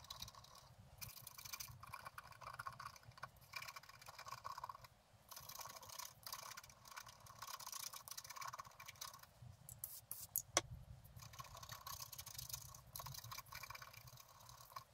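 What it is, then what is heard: Scratch art card being scratched. A wooden stylus scratches the bicycle frame into a flat black-coated scratch art card lying on a table. It makes long bursts of bright, dry scraping with short pauses between strokes, over a faint low rumble. One sharp click stands out near the ten-second mark, and the overall level stays quiet.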